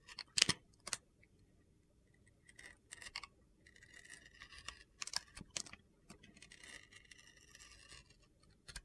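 A utility-knife blade scrapes and peels the blue glitter coating off a solid bar of white soap held in the hand. Sharp, bright ticks mix with gritty, crunchy scraping passes, all high and thin with almost no low end. Each sound cuts off immediately with no ring.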